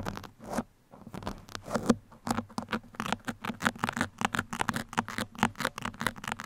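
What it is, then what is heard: Foam microphone windscreen scratched with pins. Two metal pins held by fingertips scratch and poke both sides of a soft, porous black foam windscreen on a microphone. The result is a quick run of short, dry, crackling scratches and pokes, with a brief pause near one second before the strokes come faster and denser.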